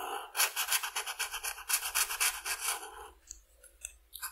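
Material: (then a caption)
Paper. A red felt-tip marker is rubbed in dense back-and-forth strokes across a flat white paper coloring sheet on a table, coloring the lower wings of a butterfly. Quick, bright scratchy swishes repeat about four times a second for three seconds, then fade into a few faint, scattered strokes.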